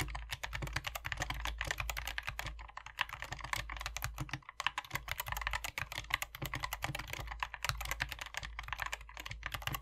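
Two hands type continuously with their fingertips on a compact 60% SK61 optical mechanical keyboard, before the mod, with a hollow white plastic case and grey, white and red PBT keycaps. The result is a dense, steady stream of short, bright plastic clacks over a constant low hum.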